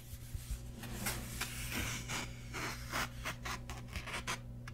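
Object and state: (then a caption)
Paper hardcover book, pages rubbed. A grey hardcover book is held in both hands above a table while its paper pages are fanned and rubbed with fingertips and nails. Soft, bright rustling and scratching strokes come in short bursts over a steady low hum.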